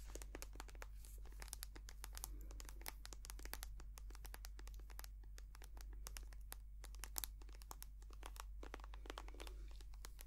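A small white soft plastic squeeze tube of hand cream, hollow and filled with cream, is tapped and scratched with long painted nails. Rapid, sharp, bright clicks and crinkly scratches run continuously over a steady low hum.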